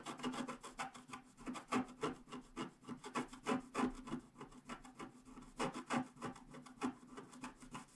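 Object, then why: Wax-coated scratch art paper sheet scratched with a wooden stylus. A wooden stylus scratches the grass and lower left flowers into a flat wax-coated scratch art paper sheet lying on a table. Quick, slightly irregular strokes of about three per second give a dry, quiet rasping scratch, each stroke short and brushy with no ring after it.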